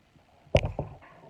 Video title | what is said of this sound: Chef Nikita Gandhi, Episode 435: #SimpleHomemadeRecipes Facebook Live | You see it's how crispy they are. You can hear it.